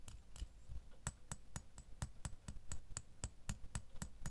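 A fingernail taps the bow of a small solid metal door key lying in an open palm, giving a steady series of sixteen quick, quiet clicks. Each tap has a dull low thump beneath a bright, brief metallic tick that dies away almost at once.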